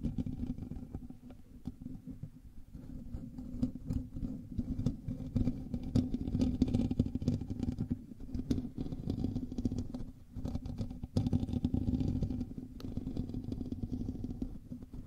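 Fingernails scratch the hollow metal mesh grille of a black microphone, producing a dense, continuous scratching rumble heavy in the low end with a steady midrange hum. The texture swells and eases in waves, with a brief drop to near quiet around ten seconds before the scratching picks back up.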